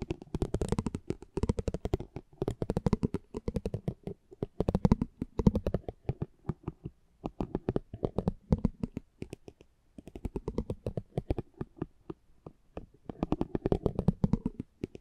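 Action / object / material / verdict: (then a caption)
scrape / thin cardboard trading card under a metal spiked pinwheel / cardboard / none. A metal spiked pinwheel is rolled and scratched over a small, thin cardboard driver trading card held in the hand. It makes dense bursts of rapid, dry ticking and scratchy clicks, low and muffled in tone, coming in uneven clusters with short pauses between them.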